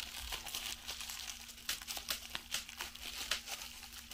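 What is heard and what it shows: A small piece of clear plastic bubble wrap is held up in both hands while its bubbles are pinched and popped with fingertips and long nails, with a larger sheet lying aside. Soft, bright crinkling runs throughout, broken by short, sharp pops that die away almost instantly, over a faint steady low hum.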